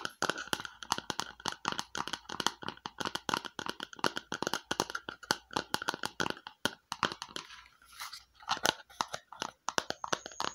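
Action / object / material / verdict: tap / small plastic bowl / plastic / none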